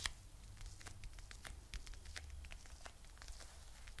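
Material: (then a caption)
Faux fur. A soft, hand-sized mint green fluffy faux fur pouch with a "Chill Pill" patch is held close to the mic and scratched and rubbed with long nails. Quick, bright, crackly scratches flick over a steady low rumble, soft and close throughout.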